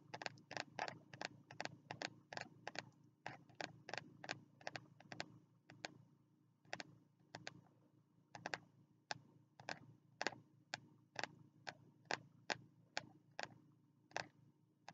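Fingertips tap the stiff front cover of a small green spiral-bound notebook held upright in both hands. The taps are short, dry and clicky with a bright edge, coming in quick flurries at first and then as slower, evenly spaced single taps over a faint low background.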